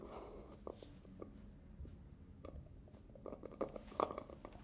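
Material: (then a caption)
Plastic. Fingers and nails scratch, tap and twist the black plastic lid of a medium-size black plastic hair gel jar. A soft, steady scratchy rustle is broken by a string of short, dry clicking taps that stop at once. The sound stays quiet throughout, with a mid-pitched, hollow plastic tone.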